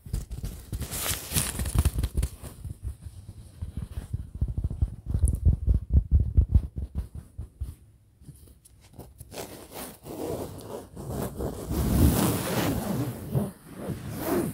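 A large printed fabric pillow held close to the mic is scratched with fingertips and nails, giving rapid, uneven bursts of soft, bass-heavy rustling and scraping. The scratching eases into a quieter lull midway, then returns as a denser, brighter, more continuous rubbing toward the end.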